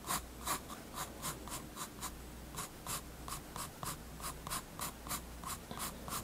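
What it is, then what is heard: Pencil strokes on a paper sketchbook page. A graphite pencil draws light line strokes on the page of a spiral-bound paper sketchbook resting on a wooden desk. Quick, evenly spaced scratchy strokes make bright, hissy bursts with a papery tone around 1 kHz, over a steady low hum.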